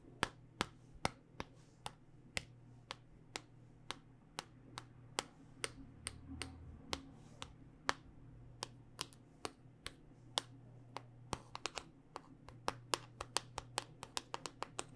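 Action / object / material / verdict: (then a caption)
tap / smartphone in hard plastic case / hard plastic / none. A handheld smartphone in a solid black rugged hard-plastic case with a ridged back is tapped with long dark-painted nails, giving about 42 sharp, dry, bright clicks that die away almost instantly. The taps come in a steady rhythm, then quicken into rapid clusters toward the end, over a faint low hum.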